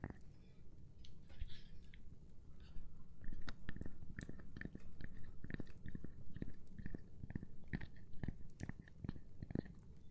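A gloved hand taps on a cork board, making a steady run of soft, dull, quickly fading taps that are mostly low and thuddy, with faint brushing between them. The taps keep coming unevenly across the whole clip.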